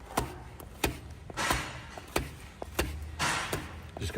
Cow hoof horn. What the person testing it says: Actually hear that it's hollow